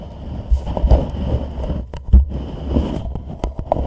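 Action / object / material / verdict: tap / plastic reusable cup / plastic / none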